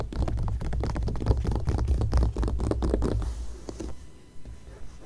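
Long-nailed fingers scratch across an open glossy magazine spread, making a dense, rapid scratching with a heavy low rumble underneath. After about three seconds it thins into a softer, quieter rasp as a single fingertip and nail trace along the coated paper.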